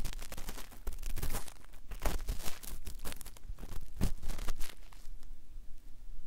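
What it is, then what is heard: Vinyl toy doll head. A cotton swab held in fingertips is rubbed and scratched lightly over the face near the eye of a hollow, hand-sized, molded vinyl/plastic Woody toy doll head. It makes a dense run of soft, dry scratching and crinkly rubbing strokes that swell and fade, over a low rumble, before settling into quieter friction.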